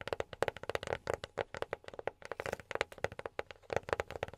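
A box is tapped rapidly with silicone rubber pads worn on the fingertips. About 27 soft, quick taps land in an uneven rhythm, each a short muted knock with a hollow tone around 535 Hz. The taps die away almost at once.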